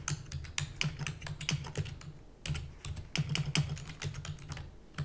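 Fingertips with long natural nails type rapidly on a full-size black plastic computer keyboard with plastic keys and a hollow housing. The result is a fast, uneven run of short, dry clicks and clacks with a hollow low thud under bright tapping edges. A brief pause falls midway before the typing resumes.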